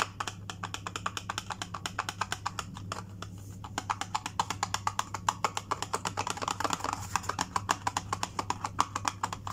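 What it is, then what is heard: Cardboard sewing kit box. Fingertips and nails tap rapidly on the face of a small, closed, hollow white printed cardboard box, a CITRON wardrobe repair sewing kit, held in one hand above a stone countertop. The dense run of short, dry, clicky taps has a hollow tone around 1.2 kHz that grows louder and brighter toward the end. A steady low hum sits underneath throughout.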